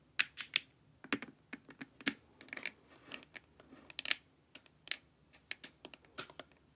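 Long nails tap the sides of a glossy, hollow plastic LED face mask. The result is a quick, irregular run of about 22 short, bright clicks. The clicks vary in loudness, have no ring afterward, and sound much like typing.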